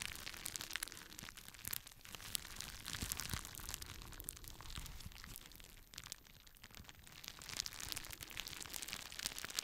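Fingertips pop the bubbles and crinkle a clear plastic bubble wrap sheet. The result is a quiet, continuous stream of bright, crisp crackles and sharp little pops, with a few louder snaps over soft crinkling.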